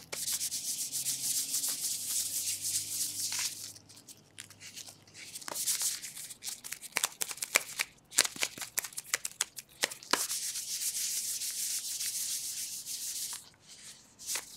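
Thin black latex gloves worn tight on both hands are rubbed and wrung together quickly, giving a bright, squeaky, sliding rubber sound. Long stretches of steady hissy rubbing alternate with a middle section of sharp, quick squeaks and snaps. The rubbing then returns before tapering off.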